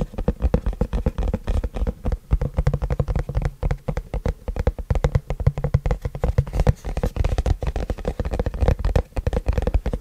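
Fingertips tap and scratch the front face of a long, flat white printed cardboard keyboard box held upright in both hands. The result is a fast, continuous run of dull, low thumps with very short decay, mixed with soft scratchy rustling.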